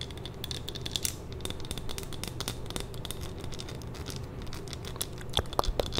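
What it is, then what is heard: Glass jar candle tapped and scratched with nails. A small lit glass jar candle filled with red wax is held in the hand and tapped and scratched with long nails. Quick, dry clicks and scratchy rasps run throughout over a low background hum. A few sharper, bright taps stand out near the end.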